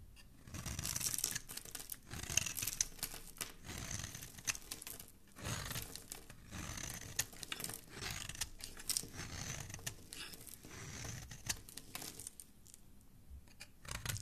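A black utility knife blade shaves and scrapes the surface of a hand-held, hand-sized green rectangular bar of soap embossed "Nat...", throwing off crumbly flakes. Dry, crackly scraping strokes come in repeated bursts, bright and hissy up high with a soft low rustle underneath, dropping into brief quiet gaps between passes.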